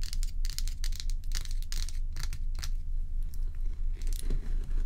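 Long acrylic nails scratch and tap the frosty surface and rim of a large, solid, bowl-shaped ice dome block. The result is a steady run of bright, crackly scrapes and quick clicky taps, with a constant low hum underneath.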